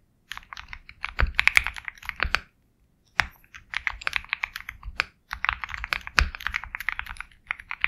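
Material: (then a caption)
Plastic. Fast fingertip typing on a compact 65% Sugar65 mechanical keyboard with KTT Kang White switches, a black case, and white and black plastic keycaps. Quick bursts of crisp, bright clacks with a light low thump run in three stretches, broken by short pauses. Each keystroke stops almost instantly.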